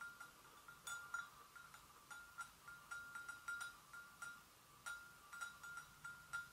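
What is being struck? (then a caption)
Porcelain gravy boat. Long nails gently tap and lightly scratch the sides of an empty white porcelain gravy boat. The result is a quiet, irregular series of light, short ringing taps with a clear tone around 1.4 kHz and a bright edge.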